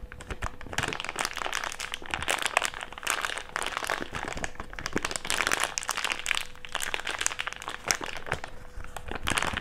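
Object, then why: Crumpled thick plastic bag. A small crumpled wad of empty thick clear plastic bag is rubbed and squeezed between fingers. It gives dense, continuous crinkling and crackling with sharp, bright snaps in bursts. A faint steady hum sits underneath.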